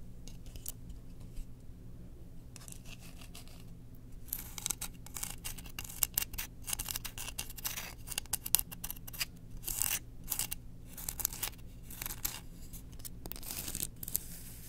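Long painted nails scratch along the surface of a solid, flat bamboo cooking spoon with a burned-in portrait print, held in hand above other spoons lying underneath. Quick, dry, bright scratching strokes come in dense bursts over a steady low hum, with brief quieter gaps between them.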